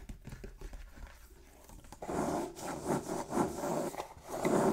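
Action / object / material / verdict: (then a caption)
scrape / printed cardboard box / cardboard / none. A sealed, hollow, medium-sized printed cardboard Elite Trainer Box lies on a wooden table while both hands grip its edges and fingertips and nails rub and scratch its printed top surface. For the first two seconds there are only faint, soft ticks and rustles. Then louder, dry scratching and rubbing begins in rough, crunchy bursts that swell and ease until the end.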